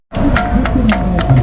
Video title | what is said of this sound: Azerbaijan beautiful places - Gobustan Mud volcano - Baku Tour | una roca que hace ruido cuando la golpeas